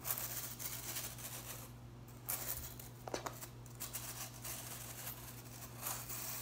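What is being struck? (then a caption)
Plastic broom bristles. A hand strums and flicks the ends of the blue plastic bristles on a broom head, making dry, bright scratching and rustling bursts with a few sharper flicks. A steady low hum runs underneath throughout.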